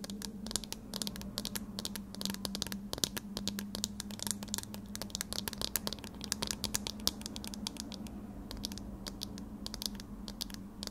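A pair of eyeglasses with a thin metal wire frame and round lenses is held in both hands while long red nails tap rapidly on the lenses and frame. The result is a dense stream of short, bright clicks and ticks that die away instantly, over a steady low hum near 190 Hz.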